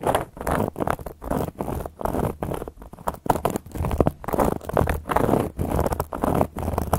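Long gold metal claw nail caps scratch and trace across a solid, round, flat cork coaster board, heard up close. Dry, rough scratching comes in quick repeated strokes, each a short burst of grainy noise with brief pauses between. The strokes are mostly low and mid in tone, with little high sparkle and no ringing.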